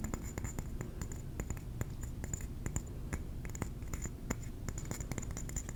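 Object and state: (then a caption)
Ceramic trinket plate. Fingernails tap rapidly on a ceramic trinket plate, producing a steady stream of short, sharp clicks that stop almost instantly. A low, continuous rumble and a faint high tone sit underneath the quiet tapping.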